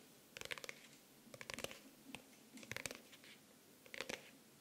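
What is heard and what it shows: A pink faux-leather hardcover notebook with an orange elastic band is scratched and tapped with nails on its cover and edges, held close to the microphone. Quick, dry clusters of bright scratching and light clicks come in bursts with short quiet gaps, with almost no low end and no ring after each touch.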